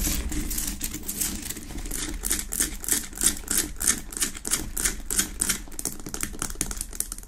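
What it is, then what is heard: Himalayan salt lamp. Long acrylic nails tap and scratch fast across the front of a large, unlit Himalayan salt lamp, a solid rock-salt lamp with a rough pinkish-orange crystal surface sitting on a wooden base. Rapid, irregular clicking taps with bright, crisp transients mix with scratchy rasping over a steady low rumble, each tap dying away almost instantly.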